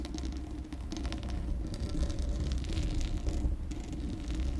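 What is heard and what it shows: Long acrylic nails rapidly scratch the uncovered, hollow metal mesh grille of a Blue Yeti microphone. The result is a steady, heavy low rumble with bursts of bright, crackly scratching on top.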